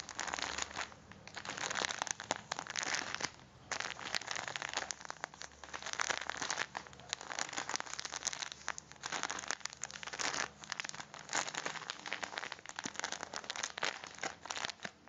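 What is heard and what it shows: A full red foil-plastic coffee pack is turned and squeezed in the hands while the fingertips rub the wrapper. It gives off dense, bright crinkling and crackling that rises and falls in bursts with little low end.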